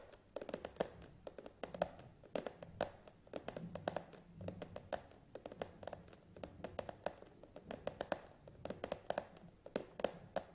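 A long, narrow, printed cardboard Hama tripod box lies closed and flat on a table while the fingertips and nails of both hands rapidly tap and drum on its top. The result is a quiet, continuous stream of dry, hollow clicks and thuds with a mid-pitched box tone around 550 Hz and almost no ring after each hit.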